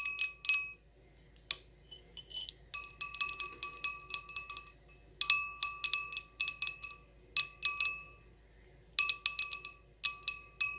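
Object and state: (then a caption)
Wine glass. A decorated wine glass is tapped and scratched, giving bright, chime-like glass clinks in quick bursts separated by short pauses. Each clink rings high with fainter lower tones beneath it and dies away almost at once.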